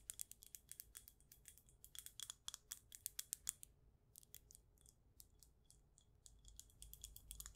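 Long acrylic nails tap along the side and base of a clear glass jar candle filled with white wax. The taps are quick, bright, dry clicks with almost no ring, coming in a rapid run. After a brief pause near the middle, they continue more softly over a faint low rumble.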